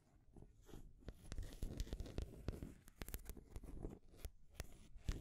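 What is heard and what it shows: Long grey nails tap and scratch the colorful painted rings of a solid wooden stacking ring toy on a peg, along with the wooden ball on top. Quiet, low, rustling scrapes are broken by sharp, bright clicks that die away almost at once.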